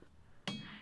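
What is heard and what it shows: A hammer strikes a stacked granite boulder at Ringing Rocks, which rings because of the rock's composition and how the boulders are stacked. Two strikes are heard: the first gives a bell-like ring with a low tone near 200 Hz and bright overtones that fade over about a third of a second, and the second hits just as the clip ends.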